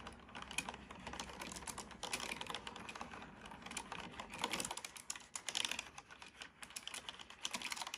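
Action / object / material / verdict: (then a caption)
tap / plastic computer keyboard / plastic / none. Fingertips type steadily on a black plastic computer keyboard, producing a dense run of quick, bright, dry key clicks with very short decay over a faint low rumble that drops away about halfway through. Near the end, the same keyboard's typing briefly crossfades in.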